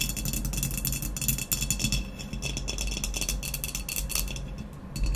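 Long nails tap rapidly on the speckled blue glazed shoulder of a hollow, empty ceramic vase lying on its side with its opening facing forward. The result is a dense run of bright, short clicks that die away almost at once, over a steady low hum.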